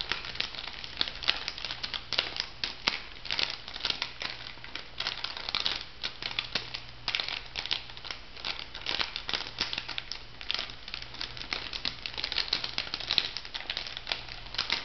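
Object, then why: Laminated foil-plastic sachet. A pink laminated foil-plastic bath salt sachet is held and squeezed in the hands while fingernails crinkle and scratch it. The result is a continuous stream of bright, crackly crinkling with many rapid, overlapping sharp ticks. A steady low hum sits underneath.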